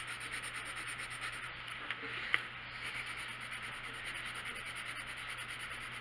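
A colored pencil held in the hand scratches and rubs across a printed paper coloring book page lying flat on a wooden table in steady coloring strokes. The result is a quiet, continuous, bright scratchy rasp with a rhythmic pulse, broken by two brief sharp ticks near the middle, over a faint low hum.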